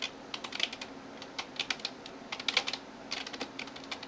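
Fingertips and nails type on the keys of a backlit plastic gaming keyboard, making bright, sharp clicks and taps in quick irregular bursts with brief pauses between them. Each tap is short and dies away at once, over a faint steady hum.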